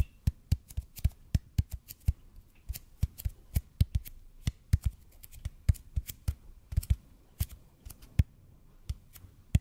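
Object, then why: Bead foam roller. Fingertips tap and scratch quickly on a large, hollow, red-and-white EPP bead foam roller held in front of a microphone. Irregular, fast dull thumps land with a deep low body and a crisp, bright click on top, each dying away at once. A soft, quiet scratching fills the gaps between them.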